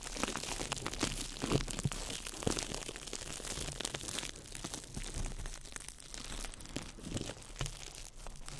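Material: Plastic film.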